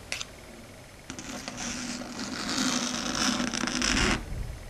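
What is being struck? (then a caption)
Chalkboard surface scratched and tapped with long fingernails. Very long, pointed red stiletto nails tap and click on a flat, solid, dark grey chalkboard surface. A single sharp click comes first, followed by a pause. Then a rapid, bright scratching and clicking builds steadily louder before stopping abruptly near the end.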